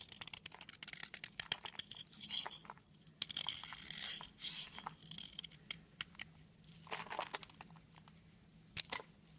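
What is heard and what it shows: A knife blade shaves flakes off a solid red soap stick held in the hand, producing crisp, bright scraping and crackling strokes in quick irregular bursts. Each cut ends almost instantly, over a faint steady low hum.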